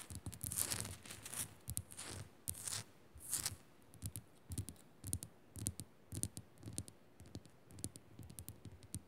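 Long nails quickly scratch and tap the rough surface of a small, solid pink Himalayan rock-salt crystal lamp. Bursts of bright, gritty scraping alternate with short, dry taps that die away instantly over a soft low thump. The sound is quiet, close and unevenly paced throughout.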